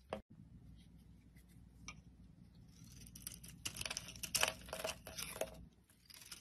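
A hand-sized, solid oval pink soap bar with an embossed logo, held in the palm, is shaved into crumbly flakes with a metal utility blade. Faint, irregular scraping gives way to denser, bright, crisp crackling and rasping bursts over a low steady hum, then briefly eases off near the end.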